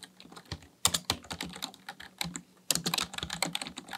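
Fingertips of both hands tap fast on a black, full-size Dell KB1421 plastic membrane desktop keyboard with a hollow housing, resting on a desk. The result is a rapid stream of short, bright, clacky keystrokes with a soft hollow low thud under each, each one dying away almost at once. The taps come in uneven bursts with a brief lull near the middle.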